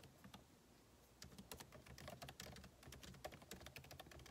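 Two hands type with their fingertips on the backlit keyboard of a MacBook Pro laptop, whose plastic keycaps sit in a hollow aluminum case. Soft, sparse clicks in the first second give way to a steady run of quick, crisp key taps. Each tap has a short, dull low thud under a bright click.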